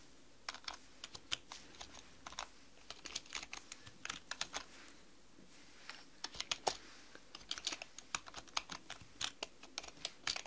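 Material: Plastic.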